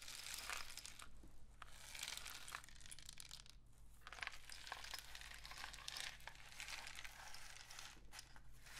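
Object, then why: Cardboard rain stick tube. Fingers tap and rub a painted cardboard rain stick tube held close while it is tilted. The result is a dense, bright, crinkling patter that swells and fades in waves, with a few sharper taps over a steady low hum.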